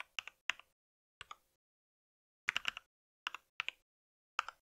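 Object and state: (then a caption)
Plastic mechanical keyboard being typed on. Fingertips of both hands type on a compact white mechanical keyboard with plastic keycaps and a solid body. About sixteen short, bright, clicky key taps come in small bursts, separated by silent pauses. Each tap stops almost instantly, with no low-end thump.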